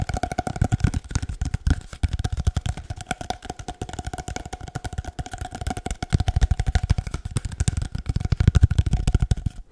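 An empty, hollow cardboard paper-towel roll, about 25 cm long, is held near the mic and tapped with the fingertips in a fast, continuous flurry of dozens of taps. Each tap is a short, dry, hollow thump with a deep low body, a faint steady resonant tone above it, and almost no ring.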